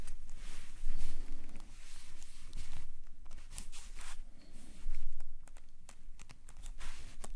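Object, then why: Sketchbook paper under a metal calligraphy nib. A metal calligraphy nib scratches long curved lines across a page of a black paper sketchbook lying flat. The pen strokes come through as soft, scratchy swells of bright friction over a low, steady rumble, with short crisp ticks as the nib catches or lifts from the paper.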